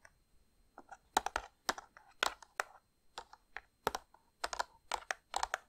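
Long painted nails tap and scratch the front of a printed cardboard gift box of Christmas crackers, hollow and filled with crackers. Quick, dry, bright clicks and short scratchy scrapes come in irregular bursts with almost no low end, each dying away almost instantly.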